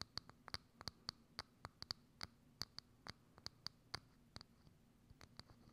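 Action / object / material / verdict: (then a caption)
tap / thin plastic dome lid / plastic / none. Long acrylic nails tap a hollow, thin, clear plastic dome lid set over a microphone, making about 19 quick, irregular taps. Each tap is a crisp, bright click with a high tone and almost no ring, over a quiet, steady background hiss.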